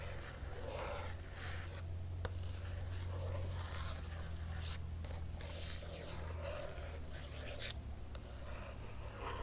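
Long fingernails trace across the printed paper pages of an open hardcover book, then both hands scratch the pages, making soft, dry rasping and brushing bursts with bright upper hiss. A steady low hum sits underneath, and the level stays fairly even throughout with only brief pauses between strokes.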